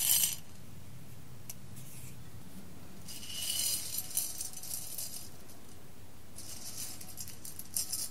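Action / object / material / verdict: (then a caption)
scrape / roasted coffee beans in a glass bowl / coffee beans / none. Fingertips with long red nails stir and pick at roasted coffee beans in a clear glass bowl, close up. Bright, crisp rattling and clicking come in bursts over a low steady hum.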